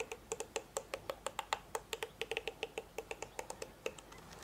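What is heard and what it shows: Fingertips and nails strum and scratch across the dense, thin plastic bristle tips of a hand-sized, black plastic-bodied hairbrush held in the other hand. The result is a quick, uneven series of short, dry, distinctly separated ticks with bright, crisp clicking tones and almost no low end.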